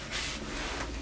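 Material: Nothing is struck.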